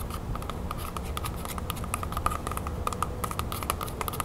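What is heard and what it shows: A whole, solid red apple held in one hand is tapped quickly with long nails on its skin. A rapid, steady patter of short, dry clicks with bright edges rides over a soft low rumble, with a faint tone near 1.2 kHz running through it.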